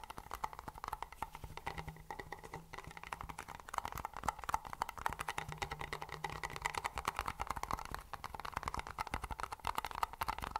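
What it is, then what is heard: Plastic lid on a paper cup. Fingertips and nails rapidly tap the top and rim of a white plastic lid on a hollow, empty-looking Pepsi paper cup. This produces a dense, continuous stream of short, dry, clicky taps with a hollow tone around 900 Hz and almost no ring. A faint low hum sits underneath during two stretches.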